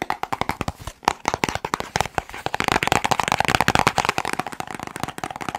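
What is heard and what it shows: A small, hollow white-and-teal printed cardboard medicine box is held in one hand and fast-tapped with fingertips and short nails close to the microphone. It makes a rapid, continuous stream of crisp, dry, hollow taps with a papery midrange knock, and each tap dies away almost instantly.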